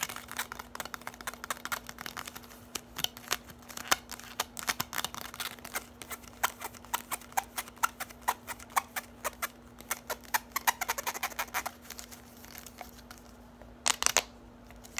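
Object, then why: Bundle of plastic drinking straws. Long nails tap and scratch quickly along a bundle of hollow orange plastic drinking straws held in the hands. The result is a rapid stream of short, dry, bright clicks with brief scratchy rasps, ending in a denser cluster of taps near the end. A faint steady low hum sits underneath.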